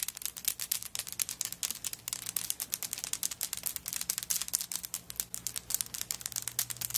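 Long nails rapidly tap and scratch across the shell chips of a handbag covered in coconut shell chips, lying flat. The result is a dense stream of dry, bright clicks and scrapes with almost no ring, over a faint low hum.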